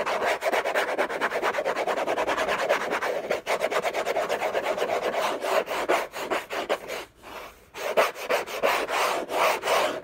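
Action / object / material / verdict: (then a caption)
scrape / cardboard gift box lid / cardboard / none. Short fingernails scratch and rub the textured paper surface of a large, flat, hollow orange Hermès cardboard box lid. The result is a dense, raspy, fast, irregular scratching with a papery mid-range body and bright hiss, broken by a brief pause near the seventh second before resuming.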